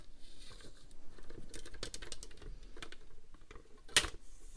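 Long nails tap and scratch across the clear rail and grid surface of a plastic paper trimmer, and the slider may also be moved. A dense run of light, dry clicks and scratchy patter fills the clip, with one sharp, bright click standing out near the end.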